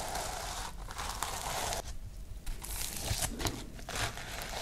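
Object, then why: Sequin-covered notebook. A sequin-covered notebook with white page edges is held up while fingertips and nails brush and scratch across the sequins. The result is a steady, dense crinkling rustle with bright, scratchy highs, briefly thinning out near the middle before the scratching picks up again.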